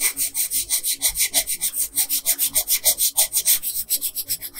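A yellow wooden colored pencil, held in a hand with long pink nails, scratches and rubs its lead back and forth across a flat printed Princess Peach coloring page lying on a dark table, filling in her hair. About 21 quick strokes sound as a bright, dry, papery scratching hiss, rising and falling in a fast, loosely steady rhythm.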